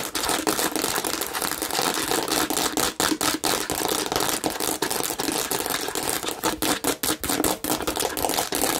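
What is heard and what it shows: Long pink nails on both hands rapidly scratch a hand-sized, hollow, red-and-green plastic watermelon-shaped bottle with raised bumpy seeds and a red cap. The result is a dense, continuous run of bright, crackly scratching and clicking with almost no low end, broken by brief pauses in the strokes.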